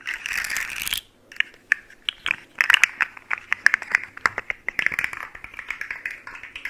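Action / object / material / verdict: shake / segmented hollow plastic fidget slug toy / plastic / none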